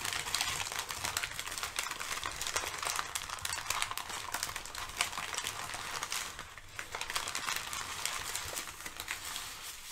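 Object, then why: Crumpled thin kraft paper sheets. A stack of crumpled thin brown kraft packing paper sheets is shifted and crinkled with fingertips and long nails. Dense, bright crackling and rustling runs steadily throughout, with many quick sharp crinkles and little low end, dipping briefly in the middle before continuing.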